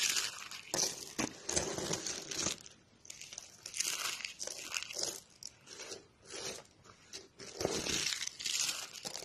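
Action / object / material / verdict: scrape / soap curls / soap / none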